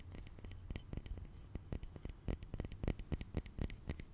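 A small, round glass facial ice globe on a short handle, hollow and filled with blue liquid, is held in one hand and tapped repeatedly with an index fingertip and nail. The result is a quick, irregular run of short, dry clicks and soft thumps, with a bright edge over a low body and almost no ring after each tap.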